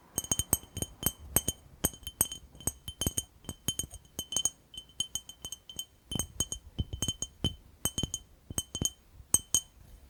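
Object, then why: Glass jar. A glass jar is tapped and clinked in a rapid, uneven series of dozens of short, bright glassy clinks. Each strike carries a steady high tone near 3 kHz with even higher shimmer above it, and each dies away almost instantly.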